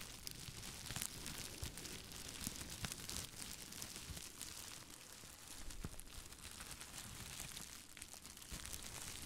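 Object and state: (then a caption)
Plastic bubble wrap being crinkled. Clear plastic bubble wrap wrapped around both hands is held up beside a microphone and squeezed and crinkled by the fingers. A steady, quiet stream of bright crinkling and crackling, with scattered sharp little snaps and a soft low rumble underneath, runs throughout.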